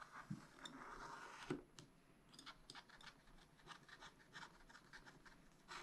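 A wooden stylus scratches small strokes at the top of a black-coated sheet on a spiral-bound scratch-art pad. Short, dry, rasping scrapes come in quick succession with bright, hissy edges. The strokes are louder near the start and settle into a steady run of quieter scratching.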